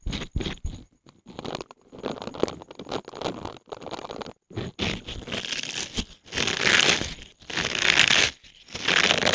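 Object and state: Silicone scrubber pad.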